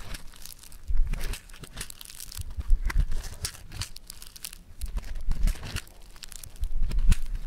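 A lump of yellow foam-bead clay is pinched, pulled and kneaded with fingertips, giving a steady, dense crinkly crackle of tiny bright pops over a low, soft squishing rumble. The crackling swells into louder bursts several times as the clay is worked, then eases back between them.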